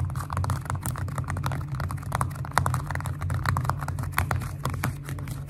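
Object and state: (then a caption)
Glitter foam-bead slime. Long nails and fingertips tap quickly on a flat purple glitter slime with foam beads, making a dense run of crisp, clicky taps with small squishy pops. A steady low hum sits underneath throughout.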